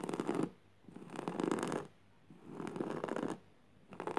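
Fingertips and nails scratch across the fibers of a flat, coarse woven jute burlap fabric lying on the floor. Four dry, raspy scratching passes, each about a second long, are separated by short quiet pauses. The texture sits mostly in the low-mid range, with little deep rumble.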